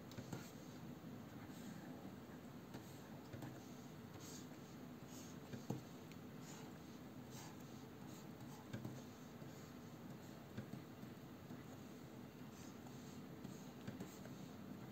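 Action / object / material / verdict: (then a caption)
scrape / plastic stylus nib on a matte glass display surface / glass / none. A plastic stylus nib held in the fingers makes short strokes and scratches across the solid matte glass surface of a large Wacom Cintiq 22 pen display while inking. The result is a quiet, steady soft scratching with faint low rumble and a few slightly louder taps and strokes.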